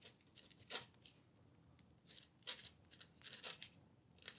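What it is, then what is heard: Paper sheet scratched by a pen nib. A dip pen nib scratches across a thin, flat paper letter sheet held on a wooden table while writing. Quiet, bright, airy scratches come in short, irregular strokes, with a few sharper, crisper ones standing out.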